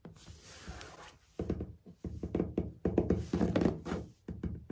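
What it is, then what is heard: Ceramic floor tiles. Short nails and fingertips tap rapidly on solid, dark grey ceramic floor tiles with grout. A soft, hissy scrape is followed by quick bursts of dull, low knocking taps with short pauses between them.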